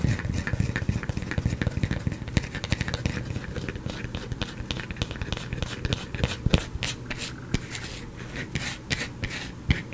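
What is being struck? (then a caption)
Bar of soap. A solid white soap bar held in the fingers is scratched with fingernails, leaving shavings on the cloth below. A dense run of dry, crumbly scratching and sharp ticks plays over a soft low rumble, with bright crackles on the strongest strokes.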